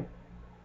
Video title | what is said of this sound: Homemade Yeast Bread in the Tupperware Fix N Mix Bowl | you can hear the solid sound to it